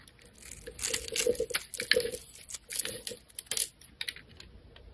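A metal blade cuts and scrapes the scored surface of a solid rectangular neon green soap bar held in the hand, breaking it into crumbs and strips. Quick crisp scraping and crackling strokes come in bursts, bright and dry with almost no low end, and a light ringing tone rises through some of the cuts.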